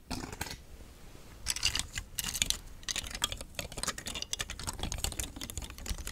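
Fingers with long nails push and click the thin nested hard plastic rings of a hollow, palm-sized rainbow telescoping star fidget toy close to the mic. The result is a rapid, irregular stream of sharp, bright plastic clicks and taps with very short decay, with a few louder bursts of clicking partway through.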